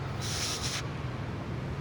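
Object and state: Nothing is struck.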